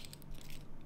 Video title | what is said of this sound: Zelda Triforce Hanayama Limited Edition puzzle - how to solution | when I shake it you can hear a lot of rattling noises inside